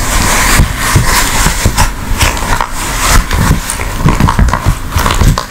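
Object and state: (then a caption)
Silicone ice cube tray. An empty blue silicone ice cube tray, folded and flat, has its smooth back squeezed, rubbed and tapped with long nails. The result is a steady run of soft, low rubbery thumps and flexing sounds. Quick bright nail clicks and scratchy rubbing are mixed in.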